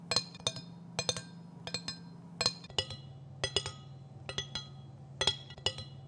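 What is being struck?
Steel kitchen knife blade tapped with fingernails.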